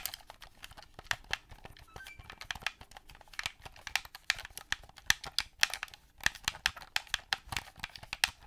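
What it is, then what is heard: Plastic game controller. A hollow, hand-held black plastic gamepad controller has its buttons pressed and its body tapped with fingers and nails. About thirty quick, sharp clicks and taps sound in an uneven rhythm, bright and dry with almost no low end. Each one stops at once with no ring.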